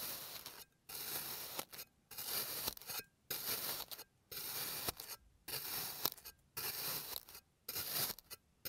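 A clear plastic blade cross-cuts an already-sliced blue kinetic sand bear shape resting on a green surface in repeated strokes. Each stroke makes a soft, bright, gritty scraping hiss, and short silences separate the strokes in an uneven rhythm.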